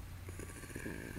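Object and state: Nothing is struck.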